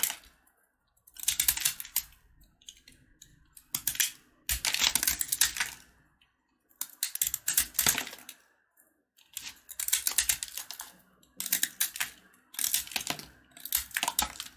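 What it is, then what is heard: Sugar-coated peanut candy bar being carved. A box-cutter blade carves crunchy flakes off a small, solid piece of red and white sugar-coated peanut candy bar held in the fingers. Bursts of crisp, bright scraping and crackling clicks come in short clusters separated by brief quiet pauses, with very little low end.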